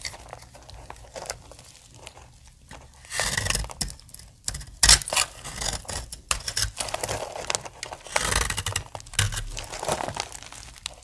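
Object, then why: Bar of soap. A utility knife blade shaves and scrapes flakes from the edge of a solid, palm-sized pink bar of dry soap held in one hand, while fingers with long painted nails press the flakes onto a pile of pink shavings on the table. The sound is a run of dry, bright scraping and crisp crunching bursts with short crinkly crackles between them, louder in the later strokes.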